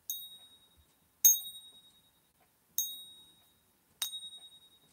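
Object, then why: Silver bullion coin. A silver bullion coin is struck four times in a ping test, each tap giving a bright, high-pitched metallic ring. Each ring decays over roughly half a second before the next strike.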